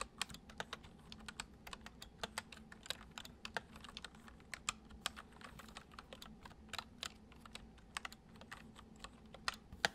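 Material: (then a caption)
Plastic. Both hands type with their fingertips on a white plastic computer keyboard, producing a steady run of quick, bright key clicks with very short decay. A faint low hum sits underneath the typing throughout.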